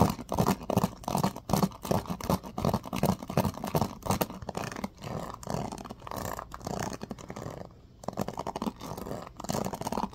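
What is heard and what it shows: Fingertips strum and scratch the pin bristles of a striped bamboo paddle hairbrush, seen side-on. Rapid, uneven scratchy strokes come at about two or three per second, dry and short with a low, woody body and little brightness. The strokes briefly thin out near the eighth second before picking up again.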